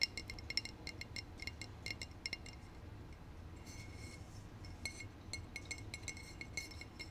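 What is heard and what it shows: A glass bottle is tapped repeatedly for ASMR, giving quick, bright glassy clinks with a high ringing tone around 2 kHz and above. The taps come in irregular bursts over a low background hum, with a brief softer stretch in the middle.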